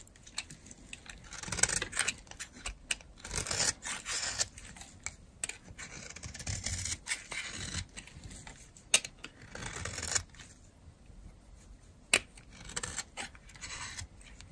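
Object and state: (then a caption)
Bar soap being scraped. A metal blade scrapes shavings off a dry, solid green-and-white striped bar of soap held in the hand. Bursts of crisp, bright scraping and crackling come in uneven strokes with short sharp clicks and quiet gaps between them.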